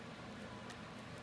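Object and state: Nothing is struck.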